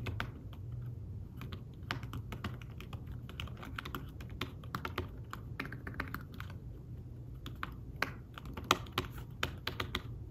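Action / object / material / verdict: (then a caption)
tap / fabric-covered tablet keyboard / fabric / none. Fingertips type on the keys of a thin fabric-covered tablet keyboard case, giving a steady run of soft, quick taps with brief bright clicks over a low, dull hum. A few louder keystrokes stand out near the end.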